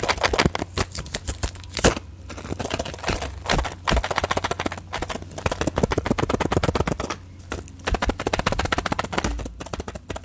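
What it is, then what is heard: Plastic and foil blister pack of tablets. Long fingernails rapidly tap and click on a small plastic and foil blister pack of orange tablets in clear plastic bubbles, held in one hand. The dense, crackly taps come in quick bursts with short pauses, each click dying away almost at once, over a steady low hum.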